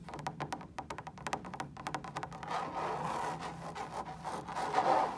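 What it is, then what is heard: Fabric lampshade. Long stiletto nails tap rapidly on a large, hollow, woven fabric lampshade that is lit, making a quick run of sharp, bright clicks. The tapping then gives way to a steady, raspy scratching across the fabric, which grows slightly louder toward the end.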